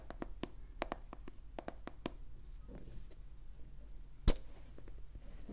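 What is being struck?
Small plastic cosmetic jar with screw lid.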